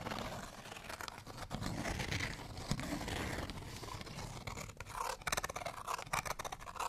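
A folded, printed cardstock tag is held up and scratched with fingernails along its surface. The result is a dense, continuous papery rasping with crisp scratchy ticks, and the strokes grow louder and choppier toward the end.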